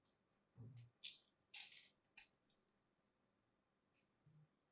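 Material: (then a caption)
Soap. A craft blade scrapes and cuts into a palm-sized solid pink soap ball coated in starch and glitter flakes, held in the hands. Several bright, crisp, crumbly scraping bursts are heard, with a soft low thud near the start and another near the end. The ball breaks apart.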